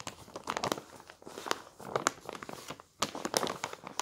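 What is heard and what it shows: A thin paper newspaper on a table is rolled, folded and rubbed flat by both hands and palms. It makes soft, dry crinkling and rustling with many quick, bright crackles, almost no low end, and a brief lull just before a louder burst of crumpling near the end.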